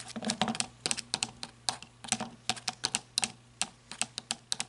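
Long red nails tap rapidly and scratch the ribbed body of a black rubber-gripped flashlight, first standing upright on a table and then held at an angle. About two dozen quick, bright, clicky taps come in irregular bursts with short, dry decays over a faint low steady hum, and soft scratchy rustles fill the gaps between them.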